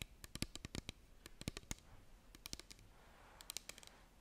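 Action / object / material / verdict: tap / small plastic bottle partly filled with liquid / plastic / none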